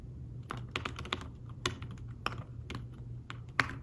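Fingertips type quickly on a thin folio tablet keyboard with fabric-covered keys, producing about a dozen short, soft taps with a muted mid-range click and brief bright edges. A steady low hum runs underneath throughout.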